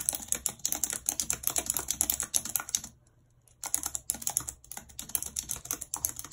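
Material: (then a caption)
Plastic. Long red nails type on the hollow plastic keys of a white plastic computer keyboard, producing rapid, bright clicky taps that break off into a pause of about half a second near the middle. The typing then resumes in the same quick, crisp rhythm with no voice.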